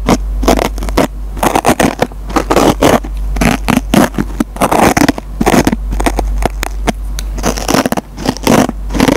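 A metal-tipped pencil scratches the surface of a green nylon scouring pad on a dry foam sponge. It makes rapid, rough, broadband scraping bursts with short, dry decays, over a steady low hum.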